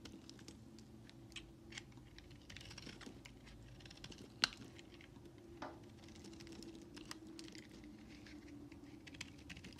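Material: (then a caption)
Soap. A utility knife blade scrapes and carves thin shavings from the edges of a solid white bar of soap held in hand. Quiet, bright, dry scratches and short ticks run over a low steady hum, with one sharper click near the middle.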